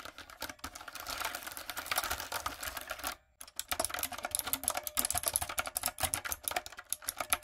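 Fingertips and long acrylic nails type rapidly on a light-up, typewriter-style plastic mechanical keyboard with round plastic keycaps. The result is a dense stream of sharp, bright clicks and clacks with almost no low end, broken by a brief pause around the three-second mark before the typing resumes.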